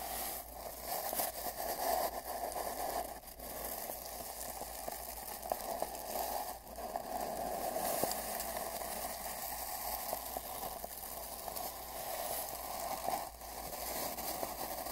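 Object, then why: Cardboard mailing tube. A large paint brush is brushed and dabbed against the left section of a long, hollow brown cardboard mailing tube, heard from a microphone inside the tube. It makes a steady, hollow rustling and scratchy swishing with a boxy resonant tone around 660 Hz, plus a few brief dips and soft dabs.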